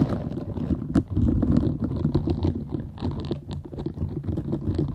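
Long acrylic nails scratch and rub across the soft bristle nubs of a small, round, green silicone cleansing scrubber held close to the mic. The result is a dense, fast, irregular stream of soft rubbery scratching and scraping with a heavy low rumble and faint bright crackle on top.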